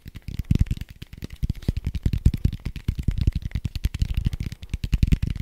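A red soft-foam die with white dots is held in one hand and tapped and scratched with the fingertips of the other. Fast, dense, dull thuds and scratches carry a low, muffled body with a faint bright hiss. The taps run together too closely to count.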